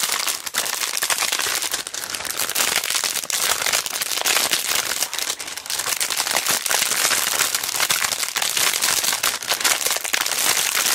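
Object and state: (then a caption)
Plastic-bagged rhinestone sticker sheet being crinkled. A palm-sized, flat rhinestone sticker sheet in a thin clear plastic resealable bag is held in both hands and crinkled and squeezed with long dark nails and fingertips, while other sticker packs lie untouched on the table. The result is a dense, steady stream of bright, crisp crackles and crinkles with almost no low end, lasting the whole clip.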